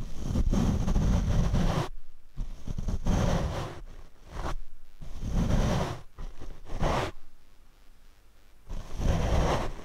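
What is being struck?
Foam microphone windscreen.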